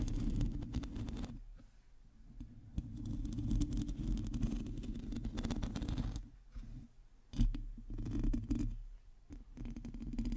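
Long teal nails on both hands scratch a hollow, domed metal mesh microphone grille. The result is a dense, rapid rasping and scraping with a deep, rumbling low-end boom, which swells and fades in uneven bursts.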